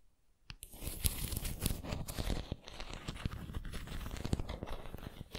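A white ceramic pineapple figurine is held upright while long nails scratch and tap its textured surface. After a brief quiet start, the result is a dense, continuous run of crackly, crinkly scratching with many small sharp taps.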